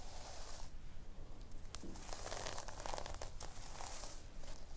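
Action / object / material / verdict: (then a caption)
scrape / sequin-covered fabric notebook cover / sequins / none. Long painted nails scratch across the pink sequin cover of a notebook lying on a wooden table. Bright, crinkly rustling and tearing-like scrapes come in uneven bursts over a steady low rumble.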